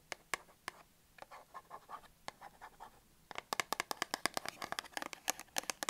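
Long acrylic nails scratch and tap a small printed cardboard box holding a Dettol soap bar, first while it is held in hand and then once it is set on the table. Soft, dry scratching is broken by a few sharp clicks, then a quick run of crisp, bright taps with almost no ring.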